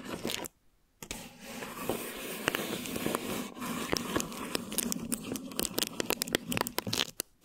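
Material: Plastic film.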